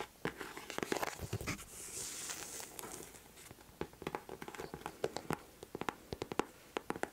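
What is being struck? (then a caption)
Leather boot. Long nails tap and scratch the upper of a white leather boot held up close. Sharp, dry clicks come in quick uneven runs, with a soft, bright scraping hiss in between. The taps stop dead with no ring.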